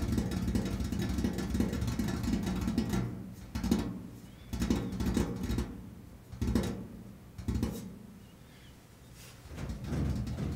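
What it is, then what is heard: Painted metal washing machine lid. Fingertips and nails tap on the large, flat, enamel-painted steel lid of a washing machine set over its hollow body. A dense, steady run of dull, low, hollow tapping fills the first few seconds, then the taps come in short, irregular bursts separated by quieter gaps, each tap dying away quickly.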